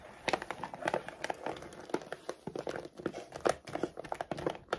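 Long decorated acrylic nails rapidly scratch and tap across a large laminated plastic dog food bag that appears filled with kibble, lying flat on a wooden desk. The result is a dense run of sharp, crinkly clicks and scrapes with short, dry decays.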